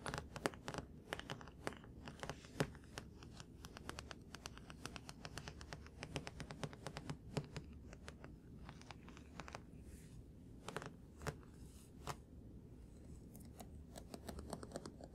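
A paper manga book, one currently being read, is tapped on repeatedly with quick, light fingertip-like taps. The taps are short, dry and soft, with no ring, and fall in a steady, busy patter over a faint low hum throughout.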